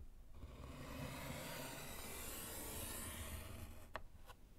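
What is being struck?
Small slate chalkboard in a wooden frame.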